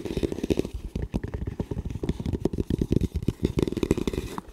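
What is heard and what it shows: Fingertips tap and scratch the shell of a hollow camo composite tactical helmet with a velcro strip and front mount, held upright. Quick, dull, low taps with a hollow body blend with soft scratching, in a busy, continuous pattern.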